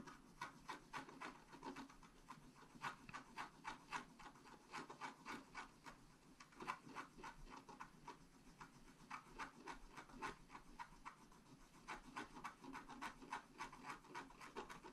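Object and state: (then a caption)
Scratch art paper card being scratched. A wooden stylus scratches the coating at the top of a flat scratch art paper card lying on a table, with the sheet held steady by the other hand. It makes a quick, uneven run of short, dry scraping strokes with a raspy, papery texture centered around 1 kHz and a bright edge, each stroke dying out almost at once.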